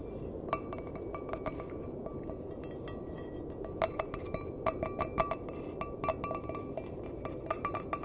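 An empty, hollow stainless steel mug with a handle is tapped with the fingernails, producing a quick series of light, bright metallic clinks. Each clink rings briefly around a tone near 1.2 kHz over a steady low background hiss, with the taps growing a little louder and denser in the second half.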